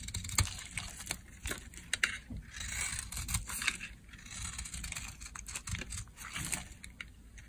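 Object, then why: Bar of soap. A blade carves crumbly dry chunks off a solid cream-white bar of dry soap held in the palm. Irregular, crisp scraping crunches with bright crumbling texture come one after another, some sharper and louder than others, over a faint low background.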